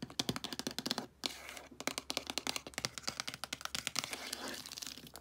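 Long acrylic nails and fingertips tap and scratch along the spines of a row of hollow plastic DVD cases standing upright on a shelf. The result is a fast, uneven run of sharp, bright, clicky taps with almost no ring, broken by short hissy scratching strokes across the spines. A faint low hum runs steadily underneath.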